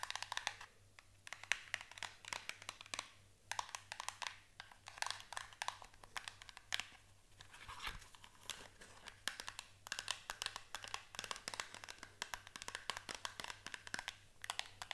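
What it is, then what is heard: Small cardboard box. Long acrylic nails tap and scratch across the faces of a small paperboard box. They make quick, dry, bright clicks and crisp scraping strokes in uneven bursts with brief pauses. The sound is quiet and close, over a faint steady low hum.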